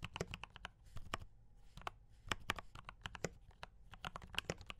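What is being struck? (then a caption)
Mechanical keyboard with plastic keycaps. Both hands type with their fingertips on a D84 mechanical keyboard with brown switches and cream and red plastic keycaps. The result is a quick, uneven run of short, dry clacks, each with a low thock and a bright click, with one stretch of denser keystrokes near the middle.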